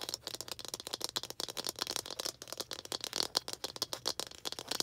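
A small hollow red plastic toy ball with baseball-style stitching is held in both hands and tapped and scratched with long green acrylic nails. The result is a quick, steady stream of dry, bright clicks and scratchy rasps with almost no low end and no ring after each tap.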